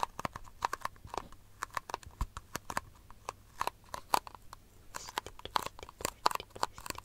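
A small, empty, hollow, white disposable plastic cup is tapped and scratched with long nails close to the microphone. A quick, irregular run of dry, clicky taps, each with a faint hollow tone near 970 Hz, is mixed with bright scratching. Each tap dies away almost at once.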